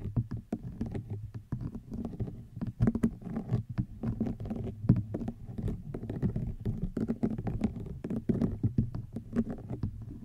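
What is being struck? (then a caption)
Woven rattan basket. A woven rattan wicker basket is tapped and scratched with long nails. A dense, steady run of soft, dry taps and scratchy brushing, mostly low and hollow in tone. Each hit dies away almost at once.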